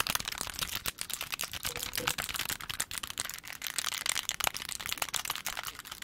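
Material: Plastic.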